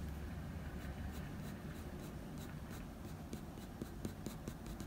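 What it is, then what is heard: Pencil strokes on drawing paper. A blue wooden pencil makes short graphite scratching strokes near the ear of a dog portrait on a sheet of drawing paper. Soft, quiet scratches and faint bright ticks sit over a steady low rumble, with the strokes growing a little sharper and more distinct toward the end.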